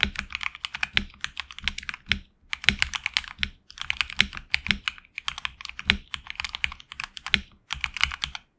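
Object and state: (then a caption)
Mechanical keyboard with PBT keycaps. A HyperX Alloy Origins Core mechanical keyboard with HX Red switches and backlit black and red PBT keycaps is typed on with the fingertips. The bursts of quick, bright, clacky keystrokes are short and dry with little low end, separated by brief pauses.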